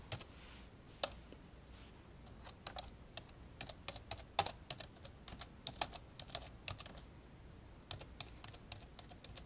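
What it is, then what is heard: Plastic laptop keyboard being typed on. Fingertips of both hands type repeatedly on the hollow built-in keyboard of an old 1990s black plastic laptop lying open on a blue carpet. Sharp, bright, very short plastic clicks come in an uneven rhythm with brief pauses, over a faint low background hum.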